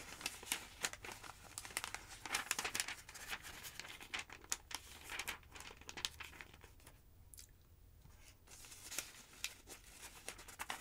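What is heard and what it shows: Thin pages of a large, thick yellow paper phonebook lying open on a wooden table are grabbed by fingertips with long nails and flipped over. Dense, bright rustling and crinkling fill the clip, with sharp papery snaps as each page turns. It eases into a quieter stretch near the end before the page turning picks up again.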